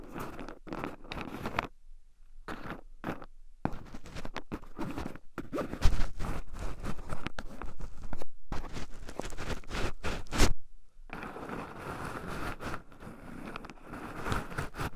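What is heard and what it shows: Two wooden chopsticks stir and poke into a small wooden bowl heaped full of raw shelled pine nuts, with two black microphones buried in the pile so the nuts also rub against them. Close, dry crunching, scratching and rustling comes in irregular bursts with brief pauses in between, and a few sharper clicks stand out.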